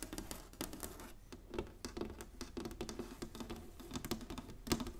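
Long painted nails tap and drum across the squares of a large, flat, inlaid wooden chessboard lying on a table. Quick, dry, woody clicks patter in an uneven stream, carrying a hollow low-mid knock around 280 Hz and a brief bright tick on each strike. The taps die away almost instantly.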